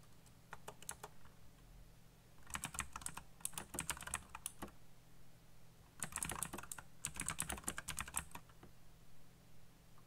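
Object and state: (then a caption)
Mechanical keyboard with plastic keycaps. Fingertips type quickly on a black backlit mechanical computer keyboard with plastic keycaps, producing sharp, bright, clicky key presses that come in rapid bursts separated by short pauses. A steady low hum runs underneath throughout.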